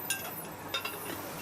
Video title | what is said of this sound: Saône-et-Loire : la recette d'Emile Henry pour vendre des céramiques dans le monde entier | Nous avons une bague pour voir si les pièces ne sont pas filées. Quand on sonne, ça sonne comme une cloche.